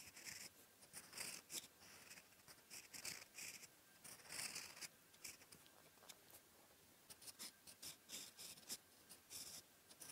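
A steel fountain pen nib, held in the fingers, writes on a flat sheet of lined paper resting on a desk. It makes soft, dry, bright scratching strokes in quick bursts, with short pauses between them.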